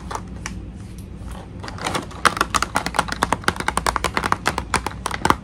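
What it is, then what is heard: Plastic blister toy package. Long nails tap on the clear plastic shell of a hollow blister pack mounted on a cardboard card and filled with a pink toy tea set. Soft, scattered clicks build after about two seconds into a quick, steady run of sharp, crisp taps with a bright, hollow plastic tick and almost no ring.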